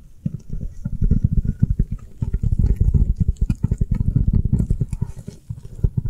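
Long nails tap and scratch quickly across the avocado-print face of a round, avocado-shaped foam kitchen sponge held upright in the hands. The taps come in a rapid, steady stream of soft, muffled, low thuds with almost no ring, and faint scratchy brushing sits between them.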